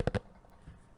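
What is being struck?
Small box.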